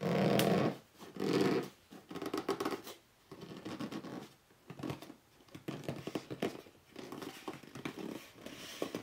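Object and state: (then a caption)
Cardboard box, scratched. Fingertips and short nails scratch and rub the top of a hollow red cardboard box lying flat. The result is a run of dry, scratchy rubbing bursts with a hollow, muffled low-mid body and faint bright edges, broken by brief pauses and loudest at the start.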